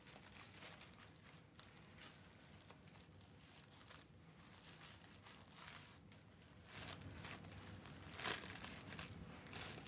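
A bare hand and fingertips smooth, rub and crinkle a thin, crinkly tan tissue paper sewing pattern piece flat on a fabric-covered ironing board. The result is a quiet, continuous bright crinkling and rustling, with irregular papery scratches and louder crackling bursts toward the end.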